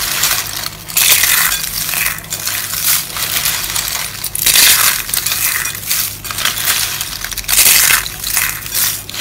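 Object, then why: Rolled soap curls crushed by hand. A pile of small, hollow, rolled dry soap curls in pink, blue, white and yellow sits in a bowl and is squeezed, crushed and rubbed in both hands with long lilac nails. Dense, bright, crackly crunching runs throughout with almost no low end. It swells into louder bursts at about 1, 4.5 and 7.5 seconds before easing back to a softer rustle.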